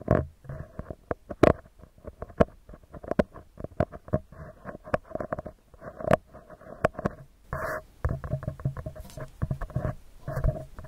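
Fingertips and nails tap and scratch a round, hollow metal mesh microphone grille. The result is a fast, irregular run of dozens of short, dry taps with a thumpy low body and a hollow, slightly metallic mid-range tone. Brief rasping scratch bursts are mixed in, and nothing rings on after each touch.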